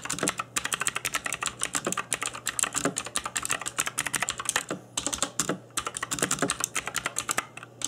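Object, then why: Mechanical keyboard with plastic keycaps and case. Fingertips in black nitrile gloves type continuously on a cheap RGB-backlit mechanical keyboard with plastic keycaps on a hollow plastic case. Rapid, bright plastic key clicks and clacks come in quick bursts with short pauses, each tap dying away almost instantly. A faint steady low hum runs underneath.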